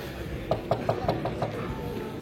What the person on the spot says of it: velg-nya ini doff ya jadi kayak bahan plastik gitu loh kalau di ketok-ketok tuh bunyinya kayak gini